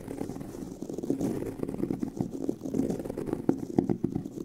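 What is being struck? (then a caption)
Pebbled leather handbag. Fingernails scratch the tan pebbled leather of a handbag near its seam, the hollow bag body giving the sound a muffled, boxy tone. A steady, dense rasp of many quick scrapes runs throughout, with a few sharper bursts standing out. The sound sits mostly in the low-mid range, with little brightness.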